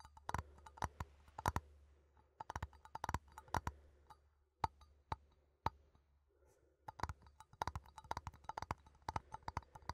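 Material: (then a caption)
Metal. A small cylindrical metal coffee tin, held in both hands, is tapped with fingertips and nails on its side and rim. The result is a quick series of sharp, dry clicks and taps, each with a brief tinny ping around 890 Hz that dies away almost instantly. A steady low hum runs underneath, and there are short quiet pauses between the bursts of tapping.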